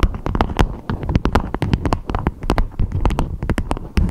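A beeswax-coated fabric food wrap with a strawberry print, shaped into a dome, is tapped and scratched with long acrylic nails. A quick, steady run of short, dry taps sounds, each a soft low thump with a crisp, bright click on top, with light scratchy rustling between them.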